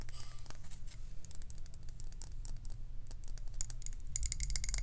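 Long acrylic nails tap quickly all over the glass sides and glass lid of a medium glass jar candle filled with solid white wax. The taps are fast, irregular, bright clicks and ticks with very short ring, over a steady low hum.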